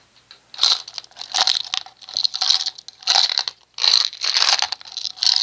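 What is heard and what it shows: Fingertips tap a small round red plastic cosmetic jar with a screw lid, the hair gel or cream kind, held in one hand. Quick bursts of crisp, dry clicking and scratchy tapping come in irregular clusters, almost entirely bright and high with no low end. Each tap dies away almost instantly.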